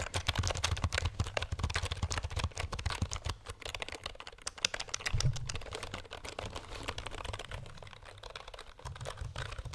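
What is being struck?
Plastic computer keyboard.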